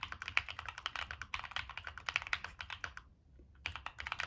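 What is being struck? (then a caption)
Mechanical keyboard with plastic keycaps and metal case. Fingertips type on a Monsgeek M1 mechanical keyboard with a dark metal case and purple and black plastic keycaps. The keystrokes are rapid, bright clacks with almost no ring, with a brief pause in the typing before it resumes.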